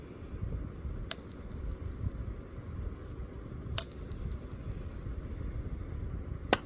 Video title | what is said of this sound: Silver Ping Test Explained 🔔 - How to Tell Real Silver by Sound - Stackers Guide to the Galaxy | it's got a really high pitch to these ones